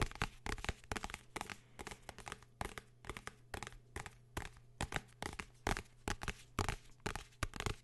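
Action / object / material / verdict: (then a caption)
tap / hardcover book / cardboard, paper / none. A blue hardcover book is tapped and scratched in an irregular rhythm, giving short, dry knocks with almost no ring, mixed with bright scratchy rustles. A steady low hum runs underneath throughout.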